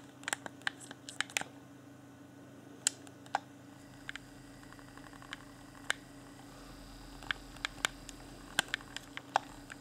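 A hand-sized, hollow, transparent plastic Xbox controller with its pink LED lit is held in both hands while fingertips press and click its buttons and tap its shell. About two dozen short, sharp, bright clicks and taps stand out at irregular intervals, each dying away almost instantly over a quiet, steady low hum.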